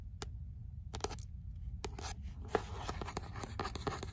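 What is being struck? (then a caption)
Paperback book with paper cover. Long nails scratch and tap the cover of a beige paper-covered paperback, 'L'imaginaire', before the book is held up by its spine. Quiet, dry clicks and papery scratches come in quick irregular bursts, each dying away almost at once over a low, steady rumble.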